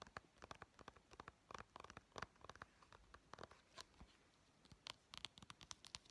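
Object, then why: Small plastic game case. Painted fingernails tap quickly across the cover and edges of a small, hollow white plastic Nintendo 3DS game case for Pokemon Sun held in the hands. The result is a quiet, rapid, uneven patter of bright, crisp clicks that stop dead with no ring, with occasional faint scratchy scrapes between them.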